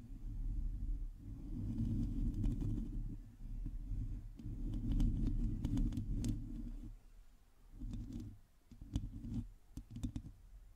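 Long glossy teal acrylic nails on both hands scratch and tap the hollow domed metal mesh grille of a black microphone. The result is a dense, low, muffled rumbling scrape in uneven bursts, dotted with faint bright ticks from the taps, with brief quieter pauses between passes.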